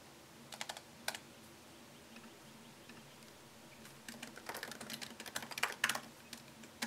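Fingertips tap the low-profile plastic keys of a MacBook Pro keyboard set in a thin solid aluminum chassis. A few scattered, crisp, bright clicks with almost no ring give way to a faster, uneven burst of typing in the second half.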